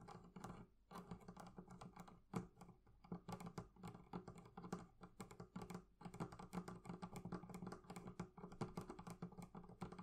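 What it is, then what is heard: Leather handle on a wooden chest. Both hands scratch and tap with long nails on a leather carrying handle on top of a wooden barrel chest. The result is a dense, rapid patter of short, dull clicks and scrapes that stop almost at once, with most of the sound sitting low and little brightness.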